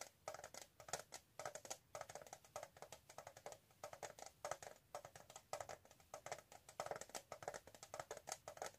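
Long nails tap rapidly on the embossed lid of a flat, hand-sized, hollow rectangular metal tin with a gold rim, held upright in both hands. The quick, uneven taps give bright, clicky ticks with a hollow tone near 700 Hz, each dying away almost instantly.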